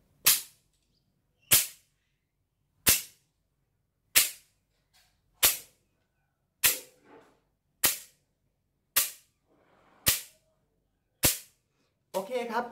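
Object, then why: Wooden slat clapper (krab phuang). A hand-held Thai krab phuang, a bundle of thin, solid, dark wooden slats about forearm length and bound at one end, is held in one hand and snapped so the slats clap together. Ten sharp, bright, dry clacks ring out at a steady, unhurried pace, each dying away almost at once. The clip ends with a short, rattling burst of quicker clatter.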